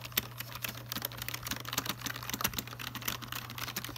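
Fingertips type and tap on the letter, number and function keys of a full-size black plastic Logitech keyboard resting in its box. The result is a rapid, uneven run of short, bright plastic clicks that die away almost instantly, over a faint steady low hum.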